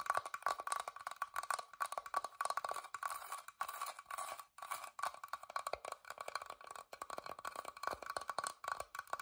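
Long dark-painted nails tap and scratch the carved front of a small, hollow, whitewashed wooden box with an openwork floral carved lid, held in both hands. The result is a steady stream of rapid, dry, woody clicks with a tone near 1.1 kHz that die away almost instantly, mixed with bright scratchy rasps and no low end.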